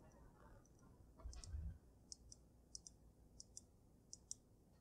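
Painted nails tap and click on a water-filled glass snow globe with a dragon inside, held in the hands. Sharp, bright clicks ring out one after another over a low, soft handling rumble near the start. Each tap dies away almost instantly.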